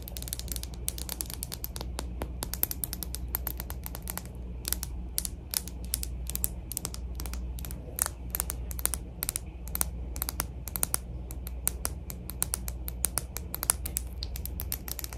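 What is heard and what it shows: A Nyx Dew Me Up cosmetic primer bottle is tapped rapidly with quick, irregular fingertip-like taps. Each tap is a sharp, bright click that dies away almost instantly. The taps run continuously over a steady low hum.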